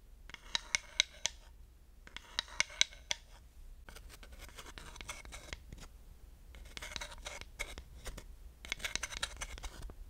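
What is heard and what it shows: A wooden dowel stick scratches across the grooves of a flat, solid wooden slotted hot pad, and the board tilts slightly. Bursts of bright, rapid ticking clicks come in spaced rounds, with sharper raps standing out in the first two, and quieter continuous scraping runs in between.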